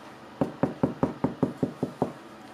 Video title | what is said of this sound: Pyszny i prosty chleb cebulowy. Domowy pyszny chleb. Becia gotuje - poleca. | Taki pusty dźwięk, to znaczy, że wszystko jest dobrze.